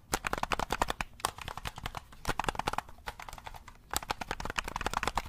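A black, hollow plastic game controller is held in both hands while fingertips rapidly press its buttons and tap its shell. The result is a quick run of short, dry plastic clicks and ticks with a bright edge, coming in bursts. There is a brief gap near the middle and a longer lull before a final flurry.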